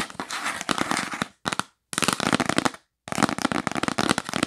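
Long acrylic nails tap fast on a yellow printed cardboard gift box held upright, its hollow body giving a crisp, papery clatter. The tapping comes in quick bursts separated by short silences, each a dense run of sharp, dry clicks with almost no ring.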